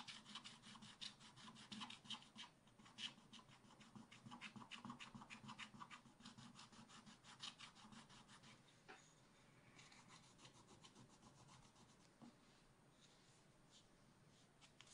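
A wooden stylus scrapes the black waxy coating off a coated paper page in a spiral scratch-art book, using repeated short strokes. Quick, uneven strokes make a dry, bright, raspy scratching with a faint low hum underneath. The scraping grows softer and sparser in the second half.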